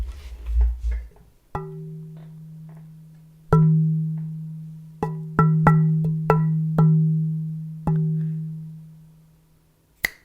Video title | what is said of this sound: Shop Talk 134 LIVE Metal Shop Organization Mini Tour then Q&A | I'm pretty sure I can let you hear it ring